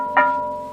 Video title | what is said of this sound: 🎞️Valérie Morin-Sogoba, restauratrice de céramique🏺 | suivant l'épaisseur de la pâte, l'épaisseur de l'émail, le plat va chanter d'une façon différente